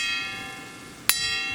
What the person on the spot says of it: 硬そうな甲高い良い音がしてますよね